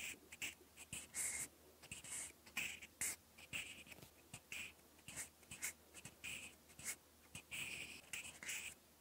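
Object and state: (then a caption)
Pencil writing on a paper notebook page. A thin mechanical pencil lead scratches across a lined cream paper notebook page in writing strokes. The result is a series of quiet, bright, dry scratchy bursts with short pauses between them, and almost no low end.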